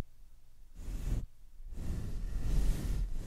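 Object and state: Nothing is struck.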